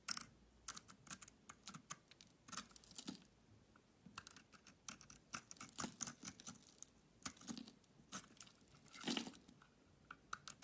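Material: Soap.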